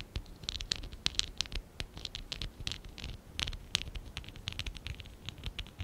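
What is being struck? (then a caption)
Stack of plastic toy bricks. Fingertips and short nails rub and scratch the sides of a small, hollow stack of lilac and dark blue ABS plastic Lego Classic 11017 bricks held in both hands. The result is a steady run of quick, dry scratches and sharp ticks with bright, hissy bursts. Each one stops instantly, with no ring.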